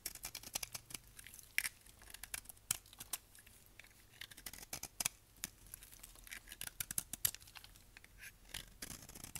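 A solid tan household-style dry soap bar is held in the hand and shaved with a utility knife blade, sending thick flakes off. Quiet, bright, crisp scraping and cutting strokes follow one another in a steady run, each very short with almost no ring and little low end.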